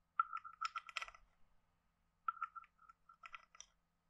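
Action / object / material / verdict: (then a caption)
scrape / carved wooden frog guiro / wood / none. A hand-sized carved wooden frog guiro, hollow with a ridged back, is held in one hand and scraped and tapped along its ridges with a wooden stick. Two bursts of quick, dry, woody clicks ring around a mid-pitched 1.3 kHz tone. A short pause separates the bursts.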